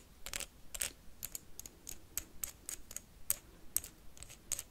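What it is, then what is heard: Wax candle tapped with paperclips. A blue wax candle is tapped and scratched quickly with paperclips, making about fifteen sharp, bright clicks and scrapes. Each tick dies away almost instantly, leaving a quiet background between them.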